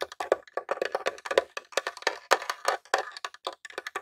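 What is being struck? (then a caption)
Plastic game console casing. Fingertips and nails tap rapidly on the top of a grey plastic Nintendo mini console, a hollow box. Some 29 quick, dry taps land in an uneven flurry, each a hollow, woody click centered around 530 Hz with a bright edge. Every tap dies away almost at once.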